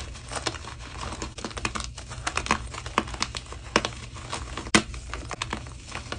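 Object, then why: Block of magnesium carbonate gym chalk. Fingers with painted nails squeeze and crumble small solid pieces from a soft square block of white gym chalk (magnesium carbonate), resting among other blocks on powdery chalk. It produces a steady stream of dry crinkling, crunching snaps with bright crackle over a low hum, with a few sharper cracks as pieces break off.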